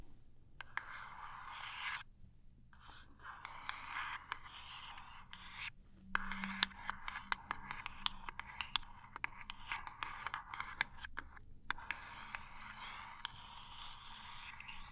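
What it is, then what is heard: Cardboard toothpaste box. Long nails tap and scratch the end of a small cardboard toothpaste box. Soft, papery scraping runs through the clip, broken by sharp, dry taps and clicks that stop almost instantly, with brief pauses near the start and toward the end. The sound is quiet and bright, with little low end.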